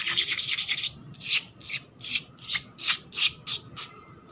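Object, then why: Painted concrete floor. Long black nails scratch fast across a flat, solid, rough concrete floor that is wet and painted red and grey, dragging over the gritty surface. A quick run of rapid strokes gives way to separate, bright, raspy scrapes at a steady pace, with almost no low end.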